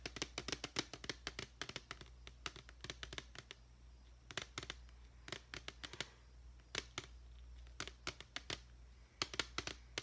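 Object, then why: Clear plastic deli container with lid. Long painted fingernails tap on the side of a medium clear plastic deli tub with a lid, partly filled with glitter foam letters. Quick runs of sharp, bright, dry clicks come in bursts with short pauses between them, each tap dying away almost at once. A steady low hum sits underneath.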